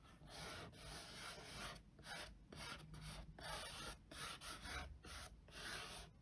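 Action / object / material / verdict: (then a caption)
scrape / printed cardboard box lid / cardboard / none. Fingertips and short nails trace and scratch across the printed top of a flat, hollow, closed cardboard box lid marked "RITUAL." About eight dry, raspy rubbing strokes sound, each a bright, broadband scratch separated by short pauses and quiet overall.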